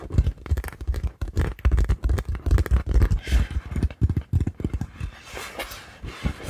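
A large multicoloured inflatable PVC beach ball, hollow and air-filled, is held in both hands in front of the microphone and tapped and scratched with long acrylic nails. Rapid, irregular dull thumps with a deep, hollow boom and almost no ring fill most of the clip. Toward the end they give way to softer, brighter scratchy swishes.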